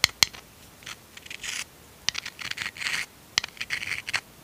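A small, hollow, empty white seashell is held between the fingers of both hands while fingertips and nails rub and scratch its surface. Sharp, bright clicks cut through short bursts of dry, hissy scratching, all high-pitched with almost no low end.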